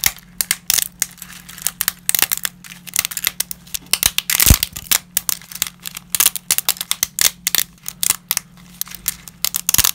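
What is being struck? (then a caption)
Lasagna pasta pieces. Gloved fingers snap pieces of dry wavy lasagna over a heap of broken fragments. A rapid, irregular run of sharp, bright cracks and crinkles is heard, each dying away almost instantly, with one louder snap near the middle. A faint, steady low hum sits underneath throughout.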